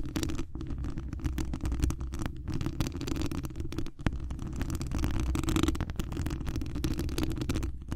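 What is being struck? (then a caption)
Wire mesh microphone grille. Long acrylic nail tips scratch the hollow mesh wire dome grille of a large condenser microphone, close up. The result is a dense, boomy, low rumbling scrape, mostly below 200 Hz, with rapid scratchy strokes.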